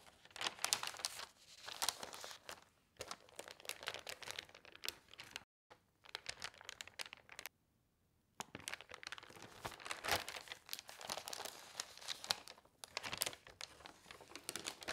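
Fingers with long nails brush across the pages of an open newsprint newspaper on a table and lift a large sheet to turn it. Bright, crisp rustling, rubbing and crinkling fill the clip, with two short silent pauses near the middle.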